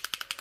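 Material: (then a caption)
Plastic. A new acrylic paint marker is shaken, and the mixing ball inside rattles. Six quick, bright clicks sound in half a second, each dying away almost instantly, with the energy sitting high and nothing in the low end.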